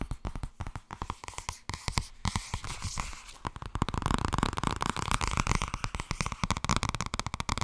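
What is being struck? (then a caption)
Thin paperback book with glossy paper cover. Long red nails rapidly tap and scratch the glossy front cover of a thin purple paperback book held upright. Quick, dry clicks mix with brushing scratches, growing denser and louder in the second half.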